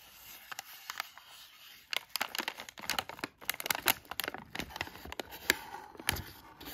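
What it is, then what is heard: Plastic foil sweet bag being scratched. A thin black tool traces and scratches the front of a filled, palm-sized yellow Halls cough drop bag made of thin plastic foil. It produces bright, crisp crinkling and scratching, with many quick sharp ticks over a soft hiss and almost no low end.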